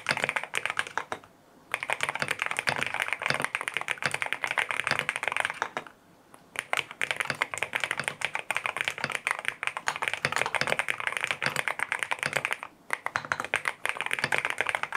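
Fingertips type on a lavender full-aluminum M1W mechanical keyboard with white plastic keycaps, a PC plate, foam filling and linear Strawberry Wine switches. The result is a dense run of quick, bright, clacky keystrokes with almost no ring, broken by three short pauses.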